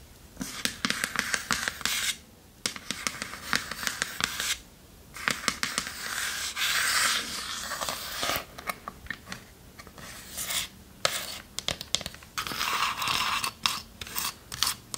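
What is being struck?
Small varnished wooden chest.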